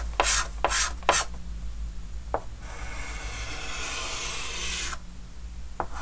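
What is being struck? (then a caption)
Chalk stick on a wooden-framed chalkboard. A white chalk stick held in the fingers scratches strokes across a large, flat, dark green wooden-framed chalkboard. Three quick, bright, scratchy strokes come first, then a short tap and a long, steady rubbing stroke that lasts over two seconds, ending with another brief tap, all over a low steady hum.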